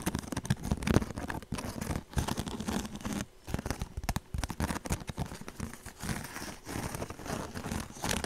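Long nails scratch and tap the rough surface of a small woven straw handbag held close to the mic. A dense, crackly rustle of quick scrapes and taps runs throughout, with brief pauses between bursts.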